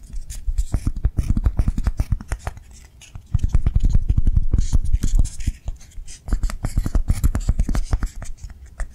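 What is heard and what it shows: Long nails tap and scratch quickly on a hand-sized, soft foam swirl lollipop toy in blue and white with a ribbon and stick, held in one hand. The dull, low, muffled taps come in dense, uneven bursts with a few brief quieter pauses, each tap dying away almost instantly.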